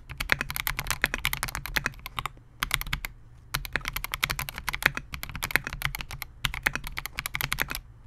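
Fingertips of both hands type continuously on a Melgeek MOJO68, a compact 68-key mechanical keyboard with Gateron G Pro Silver switches, a clear polycarbonate case and SA-profile plastic keycaps, resting on a desk mat. Rapid, bright, sharp keystroke clacks come in dense bursts with brief pauses between them, each one dying out almost instantly, over a faint low hum.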